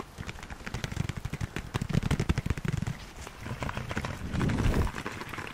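Long nails tap and scratch the outer wall of a medium beige ceramic (possibly concrete) pot, held in both hands and holding a small artificial green plant. A rapid run of short, dull, low-pitched taps with almost no ring gives way to a louder, smoother scratching swell near the end.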